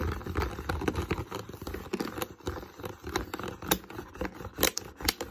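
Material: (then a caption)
Plastic. Fingertips and nails tap and scratch the molded base of an empty, hollow, clear plastic water bottle. Quick, light clicks and scratchy crackles come in a steady, uneven stream, with brief bright transients over a hollow low body.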